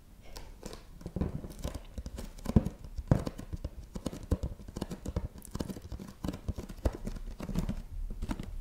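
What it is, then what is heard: Cardboard box. A medium-size printed cardboard product box, likely filled, is tapped and scratched with long nails on its flat face. Quick, dull, low-heavy taps with almost no ring mix with soft scratching in a steady, irregular patter, with a few sharper knocks standing out.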